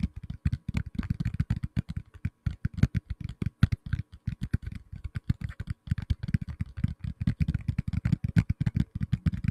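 Fingertips tap rapidly and continuously on a black tablet in a plastic case. Each tap is a short, dull, low thud that stops at once, with almost no high-frequency click.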